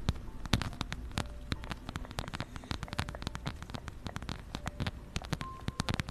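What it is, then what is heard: Fabric and faux-leather wallet. A plaid fabric and brown faux-leather wallet is held in both hands close over a microphone while long nails scratch and tap across its fabric, leather trim and zipper edge. Dense, quick crackling taps and scratches patter continuously over a low, rumbling handling noise, with sharp clicks that die away almost instantly.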